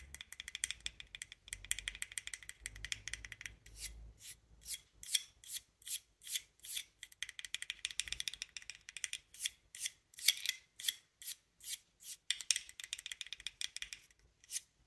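Long nails scratch and tap the cane blades of a small bassoon double reed, wrapped in wire and turquoise thread and held in both hands. Quick, bright, dry scratches and taps follow one another, a rapid flurry at first, then evenly spaced rasping strokes.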